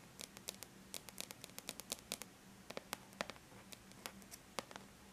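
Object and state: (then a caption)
Aluminum laptop lid tapped with fingernails. Long bare natural nails lightly tap the flat silver-gray aluminum lid of a laptop, making about 25 quick, bright, dry clicks in an irregular rhythm. Each tap dies away almost instantly over a faint steady low hum.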